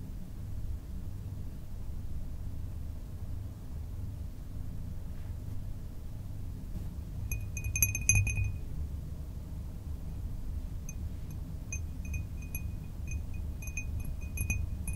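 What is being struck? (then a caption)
Cut glass drinking tumbler. A small, empty cut glass tumbler with a diamond-cut pattern is held and tapped with fingertips and nails. After a stretch of low, steady rumble, a cluster of light, bright glassy clinks with short high rings begins about halfway through and repeats irregularly to the end.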